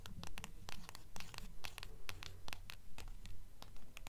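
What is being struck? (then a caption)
Hardcover book with paper dust jacket. Long acrylic nails scratch and tap the front cover of a mid-size hardcover book, "Fairies", with a pale glossy paper dust jacket, held upright in both hands. Quick, fairly regular bright clicks and short scratchy strokes repeat at about two per second over a steady low hum.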